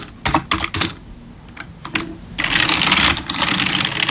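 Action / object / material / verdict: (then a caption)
tap / plastic computer keyboard / plastic / none. Fingertips type on a black plastic RGB backlit computer keyboard, sometimes with one hand at a time. A few separate bright, clicky keystrokes come first, then after a short pause a dense, rapid flurry of high plastic clatter runs to the end.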